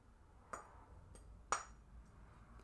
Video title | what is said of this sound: Dead Gentry : Ironstone | It has an iconic ringing tone